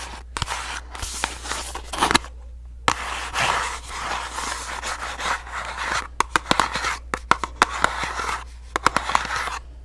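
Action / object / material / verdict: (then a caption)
scrape / small paperboard box / paperboard / none. A small, hollow orange paperboard box is tapped and scratched with long nails. Dry, papery scratching comes in bursts with brief silent gaps. Sharp, crisp taps cluster toward the end, all over a faint steady low hum.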